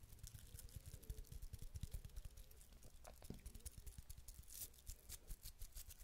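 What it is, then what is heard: Ribbed wooden cylinder scratched with nails. A small hollow ribbed wooden cylinder held in one hand is rubbed and scratched along its grooves with long nails. The result is a quick, dense run of soft scratchy ticks with a dull, low body and bright, crisp edges, at a quiet, close level throughout.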